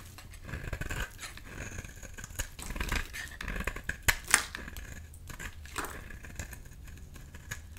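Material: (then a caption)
Soap. A metal utility-knife blade scrapes and shaves flakes off a solid lilac oval bar of purple soap held in the hand. Crisp, dry scraping strokes repeat in an irregular run with bright, papery crackles, and a few sharper, louder cuts stand out near the middle.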